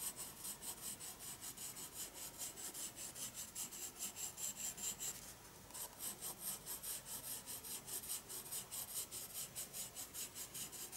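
A pencil slowly shades across the paper of a spiral sketchbook, making soft, bright, scratchy rubbing strokes in a steady back-and-forth rhythm. The strokes pause briefly just past the midpoint, then carry on at the same even pace.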